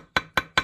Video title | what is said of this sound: 1998 Yamaha GP800 Engine build | Hear the difference in the sound? That's how you can tell it's down all the way.